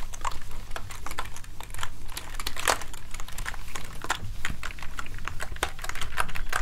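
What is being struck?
Plastic gaming keyboard.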